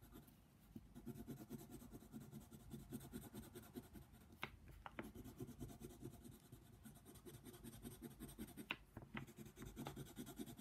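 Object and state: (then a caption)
Colored pencil on a paper page. A yellow colored pencil scratches across a flat paper coloring book page in steady, rhythmic back-and-forth strokes. The soft, grainy rasp is quiet and continuous, broken by a few sharper, brighter ticks around the middle and near the end.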